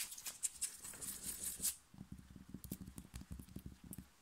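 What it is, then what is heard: Cotton t-shirt scratched with fingernails. Fingernails scratch fast with both hands across the chest of a thin, worn, light blue cotton t-shirt. The first half is a run of bright, hissy scraping strokes; it then drops to a quieter, duller patter of short soft rubs and taps.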